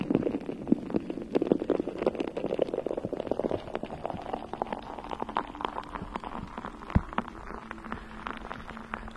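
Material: Metal mesh.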